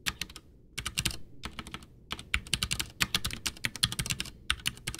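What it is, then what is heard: Plastic mechanical keyboard. Two hands type with their fingertips on a full-size white plastic Ducky One 2 mechanical keyboard with Cherry MX Brown switches, backlit, with a hollow case, resting on a desk. The keys are pressed and tapped in quick bursts of bright, clacky keystrokes that die away almost instantly, with a little hollow low thump under them and brief pauses between runs.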